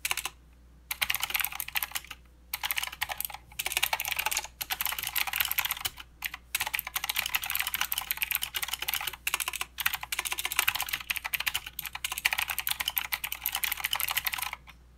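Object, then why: Plastic mechanical keyboard. Fingertips of both hands type continuously on a plastic mechanical keyboard with clicky blue switches and plastic keycaps. Bright, sharp clacks come in rapid bursts with brief pauses between runs, and each click dies away almost at once with almost no low end.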